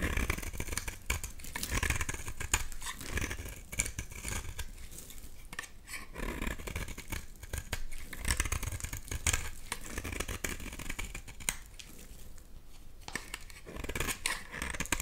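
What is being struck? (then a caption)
Soap bar scraped with a blade. A solid bright green oval bar of soap is scraped with a box-cutter blade, shaving off crumbly flakes. The sound is a dense, continuous run of dry, crackly scraping and crinkling with many quick ticks. A low rumble sits beneath the bright, gritty texture.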